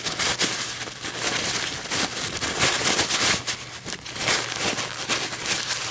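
An empty, crumpled white paper coffee filter is held and gently crinkled and rolled with long metallic nails. It makes a steady, bright crackling and rustling texture with almost no low end, swelling and easing in loudness throughout.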